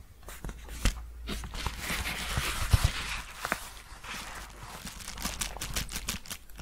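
Long painted fingernails rapidly tap and scratch the flat face of a large, empty yellow paper padded bubble mailer held up close. Sharp, dry clicks and scratchy, crinkling rustles come in quick succession, bright on top, over a steady low hum.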